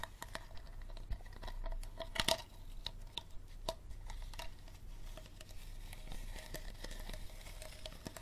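Fingertips and nails scratch and squeeze a small, empty, clear plastic Dasani water bottle held on its side, its thin hollow plastic giving a quiet, crinkly patter of scratches and crackles. A brief louder burst of crinkling near the middle carries a faint hollow ring, over a steady low hum throughout.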